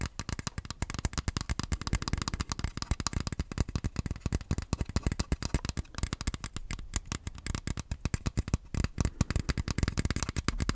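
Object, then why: Plastic game-controller grip. Fingertips tap and scratch an empty, hollow, hand-sized black plastic Joy-Con grip. A rapid, steady stream of short, dry clicks and scrapes plays throughout, with a soft hollow knock in the lows and a light crackly edge on top.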